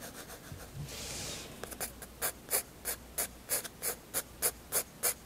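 A 7B graphite pencil draws lines on a white paper sketchbook page with a rubbing, scratching action. Soft, faint rubbing and a brief broad hiss open the clip, then the pencil settles into about ten short, bright scratchy strokes at a steady back-and-forth pace.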